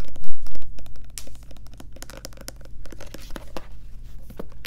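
Long nails rapidly tap and scratch the back label and bottom of a white plastic Lubriderm lotion bottle as it is held at different angles. The result is a quick run of short, dry clicks and scratchy crinkles, louder in the first second and then softer, over a steady low hum.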